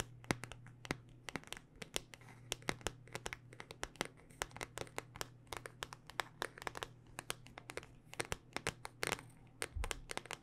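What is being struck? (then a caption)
Smartphone in hard plastic case. A handheld smartphone in a solid black rugged hard-plastic case is tapped with long dark-painted nails. Dozens of quick, uneven clicky taps come in a near-continuous stream, each sharp and bright with almost no ring, over a faint steady low hum.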